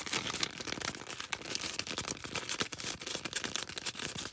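A small star-shaped green foam sponge, held close to the camera, is scratched and rubbed with long red nails. The result is a quiet, fast, continuous run of dry, crackly scratching bursts, bright and hissy with almost no low end.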